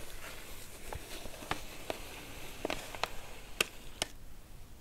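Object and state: Padded paper mailer envelope.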